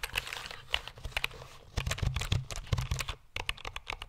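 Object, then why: Plastic computer keyboard. A black plastic computer keyboard is held horizontally in front of the microphone while fingertips and nails tap its keys rapidly. The result is a fast, uneven run of sharp, dry clicks with bright ticks over a soft low thump, each tap cut off almost at once, with a brief lull near the middle.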